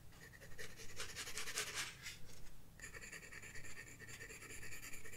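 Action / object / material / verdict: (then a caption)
scrape / graphite pencil on a paper sketchbook page / paper / none. A graphite pencil scratches shading strokes across a flat paper sketchbook page, producing a continuous bright, dry rasp that rises and falls with each stroke. The scratching grows denser and noisier through the middle, then settles into steadier, more tonal back-and-forth strokes.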